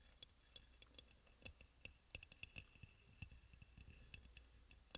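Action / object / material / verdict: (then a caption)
tap / glazed ceramic oil burner / glazed ceramic / none. Fingernails tap and lightly scratch the glazed sides of a hollow, white crackle-glazed ceramic aroma oil burner. The result is a quiet run of short, sharp ticks and clicks with a bright ring near 3.4 kHz that dies away almost instantly, over a soft, low rumble.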